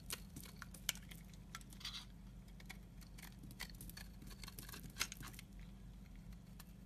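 A utility knife blade shaves flaky curls from the edge of a solid pale yellow soap bar held in the hand. Quiet, crisp scraping and crackling ticks sound bright and dry, with a few sharper snaps standing out over a steady low hum.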